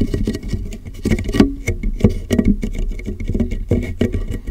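Fingertips tap the lower sides of a large, clear, hollow and empty plastic water jug turned upside down over a microphone. The result is a quick, uneven patter of dull, hollow, boomy thumps with short resonant ring and almost no high-frequency content.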